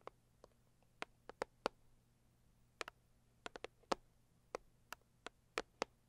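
Long acrylic nails tap the lid of a medium, closed, hollow pink floral cardboard box, making 16 quiet, sharp, dry taps at an uneven pace. Each tap has a hollow, papery knock centred around 540 Hz with a bright click on top and almost no ring. A faint low hum sits underneath.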